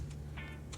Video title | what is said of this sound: Tastiest Crispy Skin Pork Belly In air Fryer | I'm scraping the knife over it. And you can hear how crispy it is.